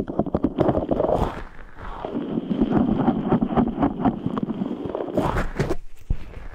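A large translucent rubber stress ball full of red gel beads is squeezed and rubbed with both hands, giving a fast, dense stream of wet squishing, crackling and rubbing noises. The irregular sounds stay mostly in the low-mid range, with brief bright scratchy bursts, and pause for a moment near the end before resuming.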